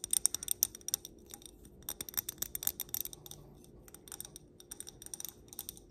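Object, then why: Wax-filled stemmed glass candle holder. Long black nails tap the bowl and stem of a clear stemmed glass candle holder filled with solid pink wax. The result is a rapid, uneven series of crisp, bright clicks with almost no ring, over a faint steady low hum.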